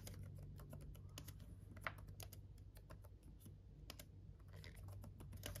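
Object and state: Plastic laptop keyboard.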